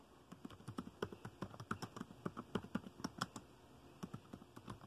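Fingertips tap the dark plastic keys of a laptop keyboard in fast typing, giving about two dozen quick, dull clicks with a low-mid body and almost no ring. The taps come in uneven bursts with a brief lull near the end before a few more keystrokes.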